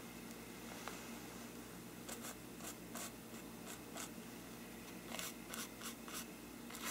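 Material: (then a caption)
Paper. A small stiff brush is rubbed across the paper side of a hollow faux-parchment paper lampshade. Quiet, bright, dry scratchy strokes come in short bursts over a steady low background hum.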